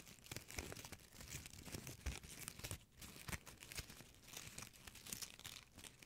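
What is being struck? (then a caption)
Metallic plastic ribbon bow. A small gold metallic plastic ribbon bow is crinkled and scratched with fingertips and nails. Dense, crackling rustles and bright scratchy bursts run continuously for about six seconds, rising and falling in short quick flurries.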